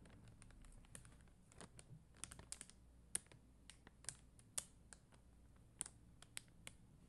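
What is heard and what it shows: Long dark-green nails tap and scratch a flat plastic rhinestone sticker sheet of red and clear faceted plastic gems on a white backing. Many sharp, bright clicks ring out irregularly over a faint, soft scratching hiss, each click ending almost at once.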